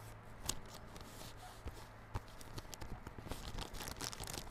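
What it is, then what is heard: Plastic-wrapped cardboard box. A small yellow cardboard Realme Buds Classic earphone box, wrapped in clear plastic film and held on its long side, is scratched and rubbed with fingertips and nails. The result is a quiet, crinkly scratching with bright, crisp rustles and sharp little ticks over a steady low hum.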